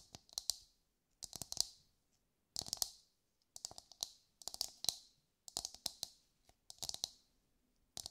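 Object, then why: Whole husked coconut, fibrous shell. Long light-grey nails tap the hard fibrous shell of a brown husked whole coconut held in both hands. The result is quick bursts of bright, crisp clicks that die away almost instantly, with short silent pauses between groups.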